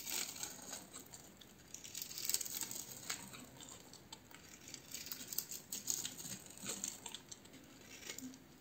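A palm-sized solid purple bar of soap, held in one hand with its surface already scored in a crosshatch, is shaved and scraped with a metal utility knife blade. Soap flakes curl off with a steady run of soft, dry, bright scratching and crackling ticks. The sound swells and fades with each stroke.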